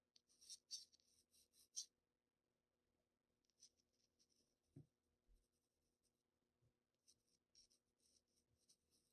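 A black wooden graphite pencil rubs short shading strokes across the block areas of a flat Bristol paper sheet, making quiet, bright, scratchy bursts of stroking. The strokes come in clusters with pauses between them, over a faint steady low hum and an occasional soft low thump.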